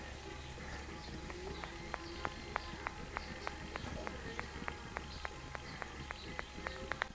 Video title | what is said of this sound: RACER SALUT. Ремонт двигателя 139QMB | вот эта сердцевина относительно изолятора вот этого белого она в нём болтается внутри